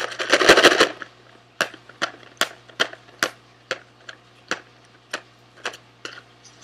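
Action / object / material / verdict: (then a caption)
scrape / small cardboard box / cardboard / none. A small SweetTarts cardboard candy box held in both hands is rubbed and scratched with fingernails. It opens with a dense second of crackly rubbing, then about a dozen separate, sharp, bright scratches at uneven intervals. A faint steady low hum runs underneath.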